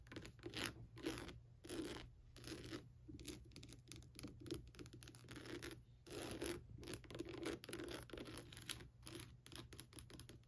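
Long nails tap and scratch around the eye sockets of a hollow, lit skull lamp with a bumpy, translucent plastic surface. Quiet, bright scratchy bursts crackle in irregular strokes with a hollow plastic knock underneath, over a steady low hum.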